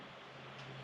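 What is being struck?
Nothing is struck.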